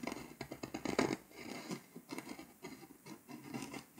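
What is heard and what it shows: A pink scraper tool scratches the foil coating off a flat, foil-coated paper scratch-off map along the edges of Hungary. Short, quiet, dry scraping strokes come in quick bursts, with a denser, louder flurry near the first second before settling into lighter rhythmic scratching.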